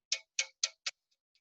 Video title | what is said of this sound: Practical Music Theory Week 3 Live Session Archival Recording | there's the fundamental sound of the tap and then there's the way the sound rings through the can that ring is overtones